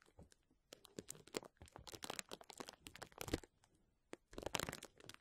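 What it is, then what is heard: Plastic bubble wrap sheet. Fingernails of both hands scratch and gently press the bubbles of a clear plastic bubble wrap sheet lying flat. The result is bursts of dry, bright crinkling and crackling, with short, quiet pauses between them.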